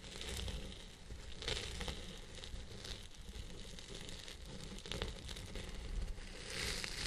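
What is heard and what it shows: A round pink plastic-bristle brush with a zebra-print handle scratches and rubs the crown of a long purple synthetic-fibre wig. The result is a steady, dense scratching and rustling with a low rumble underneath. Brighter crackly strokes surge at irregular intervals throughout.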